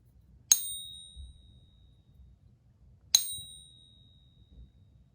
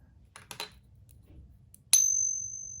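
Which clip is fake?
The second.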